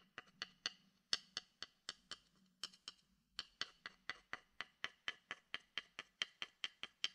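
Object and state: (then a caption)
Wooden bowl tapped with a stick. A wooden stick taps a hollow, empty wooden bowl held beside the mic, making 27 dry, hollow knocks like a wood block. The knocks come in a steady rhythm with a brief pause near the middle. Each has a bright, high tone and dies away almost at once.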